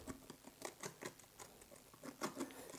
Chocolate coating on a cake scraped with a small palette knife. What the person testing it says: you can hear that how crispy is the chocolate underneath